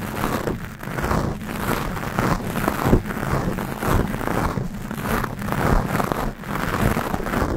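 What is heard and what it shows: Long acrylic nails scratch a black foam microphone cover on a Blue Yeti from both sides. The result is a dense, muffled rasping with heavy low-end rumble, swelling and easing in repeated strokes with little bright detail.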